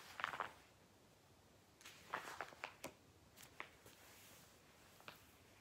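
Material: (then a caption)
Paper. Fingertips quickly flip through the thick glossy pages of an Argos "Book of Dreams" toy catalogue resting on a lap. The clip carries a quiet series of short, crisp paper crinkles and swishes with bright upper tones, separated by near-silent pauses.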